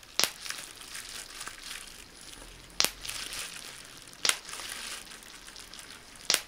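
Small air bubbles in a crumpled sheet of clear plastic bubble wrap are popped by pinching with thumb and fingertips. Four sharp, bright pops stand out, spaced a second or two apart. Between them runs a steady high plastic crinkling.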